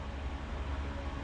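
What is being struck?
Nothing is struck.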